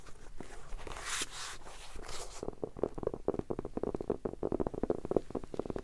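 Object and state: Hardcover notebook tapped.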